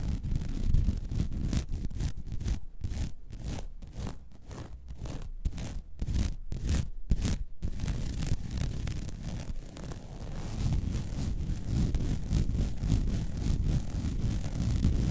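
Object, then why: Woven vinyl mesh placemat. Long red nails scratch across the weave of a flat, white woven vinyl mesh placemat. Fast, rhythmic scratching strokes with short gaps between them run through the middle of the clip, then blur into a denser, continuous rasping scrape. The sound has a low, rumbly body beneath a bright, papery texture.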